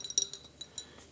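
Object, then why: Small glass jar. A small glass milk jar labelled "dairy" with a little cow on it is clinked several times. It gives bright, high glassy tinks with short ringing tones and almost no low end. The clinks are spread unevenly over about a second.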